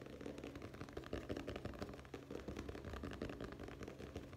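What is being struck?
Hardcover book with board cover.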